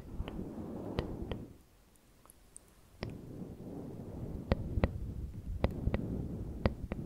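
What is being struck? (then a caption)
Synthetic fur microphone windscreen. Fingertips and medium-length manicured nails rub, stroke and scratch the long fibres of a grey fluffy synthetic-fur windscreen covering a TASCAM microphone. This makes a soft, muffled, low rustle that drops almost silent for about a second before resuming. About a dozen sharp, brief clicks cut through it.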